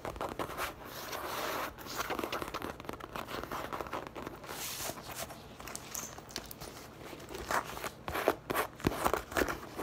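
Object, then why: Leather handbag. Long painted acrylic nails rapidly scratch and tap the smooth surface of a medium-sized, hollow, soft-sided brown leather (possibly faux leather) handbag with a zipper pocket, resting on a table. Soft, brushy scratching and crinkly rubbing fill the clip, with sharper, brighter taps standing out near the end.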